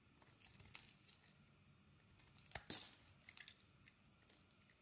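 A metal utility blade scrapes thin slices off a solid purple soap bar held in the hand. Soft, bright, crisp scraping and crinkling cuts sound over a quiet background, with a louder, sharper slice near the middle. The blade strokes are brief and dry, with almost no low end.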